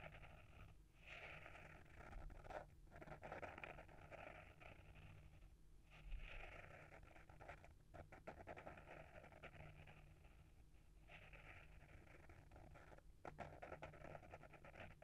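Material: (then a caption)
Paper, board. Short fingernails scratch the front cover of a small, solid hardcover book with a paper-wrapped board cover, held in the hand. The result is a soft, dry, papery rasp in the midrange, coming in long continuous strokes separated by brief pauses. A low steady hum sits underneath, and the overall level is quiet.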